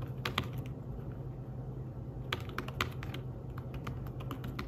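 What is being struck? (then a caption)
Fabric-covered tablet keyboard. Fingertips type quickly on a thin, flat, grey fabric-covered folio keyboard for a tablet, making a fast run of soft, bright taps. The clicks are short and dry over a steady low hum.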